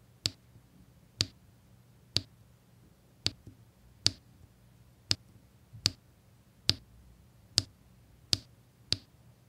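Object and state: Resin diamond-painting drills tapped onto adhesive canvas.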